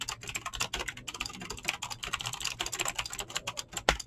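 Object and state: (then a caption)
Mechanical keyboard with PBT keycaps. Fingertips fast-type on a mechanical keyboard with clicky green switches and PBT plastic keycaps. The result is a rapid, uneven stream of sharp, bright clicks that decay almost instantly, with one harder, louder keystroke near the end.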